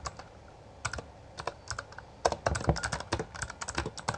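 Both hands type continuously with their fingertips on a full-size backlit Bloody B820R mechanical keyboard with plastic keycaps. A few scattered keystrokes give way to faster, denser typing, and each press makes a short, sharp clack with a bright click and a low thud that dies away almost at once.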